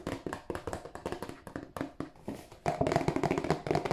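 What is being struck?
Cardboard tissue box.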